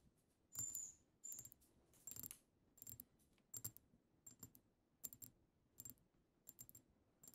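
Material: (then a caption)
Glass. Long acrylic nails on both hands tap the front of a pink-tinted glass perfume bottle labeled "Sweet Secret" in close-up. The tapping comes in quick, uneven clusters of bright, clicky glassy ticks with a faint high ring, separated by short quiet gaps.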